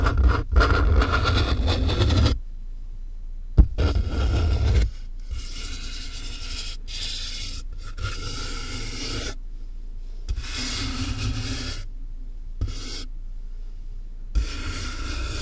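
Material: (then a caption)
Cardboard. A large hollow cardboard box sealed with packing tape is scratched and tapped on top with a single fingernail, then fingers rub along its edges and sides. Dense, low, hollow scraping and rubbing alternates with quieter stretches, and sharp taps stand out at a few points.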